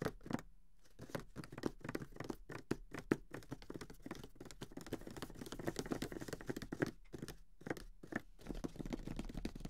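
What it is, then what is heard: Cardboard board game box. Fingertips tap and scratch along the sides and top edges of a closed grey cardboard Monopoly box, a medium flat hollow box holding the game. Quick, soft, dull taps with a hollow low-mid body mix with brief scratchy rustles, each dying away almost instantly. The sound stays quiet and steady, broken by a few short pauses.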